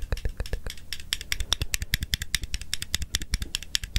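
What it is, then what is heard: Plastic and metal stapler being clicked. A small blue plastic stapler with a metal mechanism, held in one hand, is opened and clicked while its metal parts are fiddled with the fingers close to the microphone. About thirty short, dry, irregular clicks and rattles are heard, each with a bright metallic tick around 3.7 kHz over a low thud, and there is almost no ring between them.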